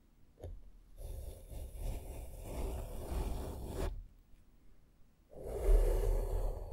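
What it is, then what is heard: Foam microphone windscreen being brushed. A small flat makeup brush sweeps across the top and side of a black foam microphone windscreen, making a soft, scratchy rustle over a heavy low rumble. The brushing comes in two long passes separated by a short quiet pause, and the second pass is louder.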